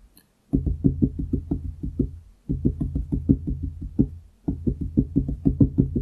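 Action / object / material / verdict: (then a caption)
tap / wooden desktop / wood / none. Fingertips of both hands tap rapidly on a large solid wooden desktop beside the microphone. Quick, dull, low knocks land in three continuous runs of drumming, each tap dying away almost at once with no ringing.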